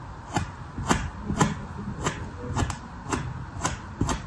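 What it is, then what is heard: Kinetic sand slab scraped with a plastic knife. A red plastic sculpting knife, held in the fingers, is drawn repeatedly across a flat, pressed slab of dark red kinetic sand resting on a paper surface, scoring lines into the solid, soft sand. Each stroke makes a short, dry, gritty scratch with a soft low thud and a bright hiss, repeating roughly twice a second at a loose, uneven pace.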